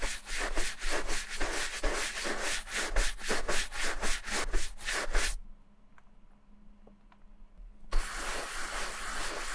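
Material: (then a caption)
Leather. A large wooden-backed horsehair brush sweeps back and forth over the smooth leather of an empty ankle boot held by hand, buffing it to a shine. Quick, bright, scratchy strokes repeat at about two per second for roughly five seconds, then stop for a brief near-silent pause with only a faint low hum and a few light ticks. The brushing resumes for the last stretch.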